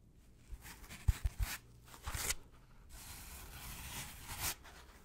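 A brick-sized white polystyrene foam packaging insert with two recesses is rubbed and scratched with gloved fingertips. Three quick, sharp knocks come early on, followed by bright, dry, squeaky scraping and rubbing that swells and fades. The sounds are quiet and close, with no lingering ring.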